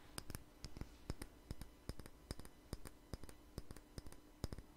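A small jar with a red label and lid, held in the hand, is tapped and scratched with fingernails. About twenty quiet, sharp, dry clicks come in an uneven rhythm, each dying away almost instantly, over a faint low hum.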